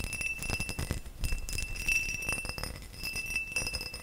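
A tall, hollow, empty faceted cut crystal glass vase is held beside the mic and tapped with nails and fingertips. Rapid, irregular taps produce bright clinks over soft, low thumps. A sustained glassy ring near 2.7 kHz hums underneath and fades quickly after each tap.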